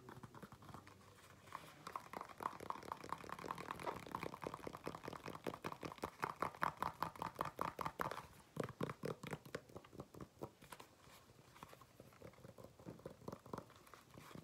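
Fingernails tap and scratch the bottom of a black flat shoe with a solid, treaded rubber sole. The result is a quick, uneven run of dry, short clicks and rasping scrapes centered in the midrange, growing louder toward the middle before easing off.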